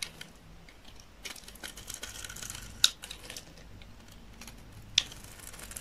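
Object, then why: Bar of soap scraped with a knife blade. A utility knife blade scrapes and shaves the surface of a solid rectangular bar of dry olive-green soap held in the hand. Soft, bright, crinkly scraping runs throughout, with two sharp, high clicks standing out as the blade catches the bar.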